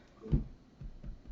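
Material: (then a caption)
Bread. A freshly baked homemade bread loaf, just out of the oven and buttered on top for a soft crust, is tapped on top. The taps give low, dull, hollow thuds that fade quickly. The hollow sound shows the loaf is baked through.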